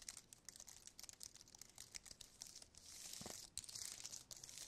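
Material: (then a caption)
Plastic. Fingertips type and tap on the keys of a slim white aluminium and plastic wireless keyboard, making a quick, uneven run of soft, bright clicks with almost no low end. Past the midpoint the taps blur into a denser, steadier crinkly patter before a few separate clicks return, all quiet and dry.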